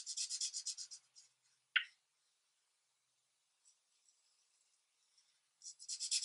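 A felt-tip marker held by a hand with long red nails is rubbed across a thin paper coloring sheet lying flat on a light pad in repeated short scribbling strokes. Rapid, bright, scratchy rubbing pulses open the clip, followed by a single sharp click. A near-silent pause with a few faint ticks follows before the high, papery scribbling resumes at the end.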